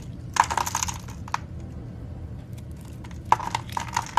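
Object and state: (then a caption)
Bar soap being carved. A dark-handled knife blade scrapes and carves thin flakes off a solid, hand-sized, oval purple soap bar that has been pre-scored with parallel lines and is held in the palm over a holographic backdrop. Two clusters of crisp, crackly scraping clicks with a dry bright edge are heard, with a quiet low hum in the pause between them. The thin flakes fall away from the surface.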